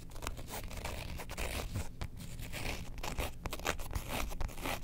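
A printed faux leather Star Wars wallet is held upright in both hands while long nails scratch its printed surface. The result is a dense run of dry, rapid scratching and rustling strokes over a steady low rumble, with short crisp bursts that never fully stop.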